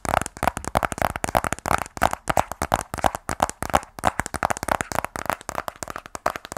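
Fingernails tap rapidly on the edges and face of a closed, small black rigid cardboard iPhone 12 Pro box. The result is a fast, uneven run of dozens of dry, hollow clicks with a mid-range knock around 800 Hz and a bright edge, each dying away almost instantly.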